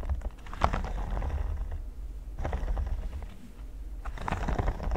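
Fingertips and nails scratch and tap across a flat, solid red silicone pyramid mat. Soft, dry scratching and light tapping come in three bursts with brief quieter gaps between them, over a steady low rumble.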